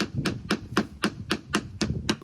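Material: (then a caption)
Fiberglass. A hammer taps a fiberglass boat hull eight times in an evenly spaced series. Each tap gives a short, dull knock with a low thud and almost no ring. The hull is delaminated, with its fiberglass layers separated, possibly from hitting a log, and grinding confirmed damaged glass.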